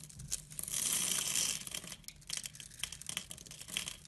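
A pink-handled utility blade scores a grid into a solid translucent blue glycerin soap bar held in the hand, then shaves off small cubes. Bright, crisp scratching and cutting sounds open the clip, followed by a longer, louder shave. A run of short, sharp slicing clicks follows.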